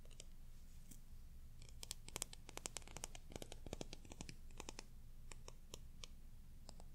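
A plastic hair dye brush with white bristles and a plastic comb handle has its bristles and comb teeth scratched and flicked with fingertips and nails. The result is a quiet stream of very short, bright clicks and scratchy ticks over a low, steady rumble, densest in the middle of the clip.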